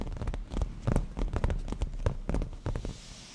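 Black-painted natural nails of both hands tap and scratch the padded, grained surface of a black leather cushion. The result is a quick, uneven run of soft, low thuds mixed with brief scratchy brushes, each dying away almost at once.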